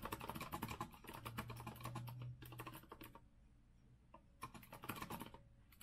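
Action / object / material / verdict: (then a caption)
tap / mechanical keyboard with metal frame and round plastic keycaps / plastic / none. Both hands type with their fingertips on a rose-gold Azio retro mechanical keyboard with a metal frame and round plastic keycaps. Quick, uneven bursts of bright clacking keystrokes come in flurries, with a low hum underneath. The typing pauses for about a second near the middle, then resumes in a second burst.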